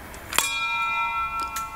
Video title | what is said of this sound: Vaso de expansión | si suena a campana, entonces significa que hay aire dentro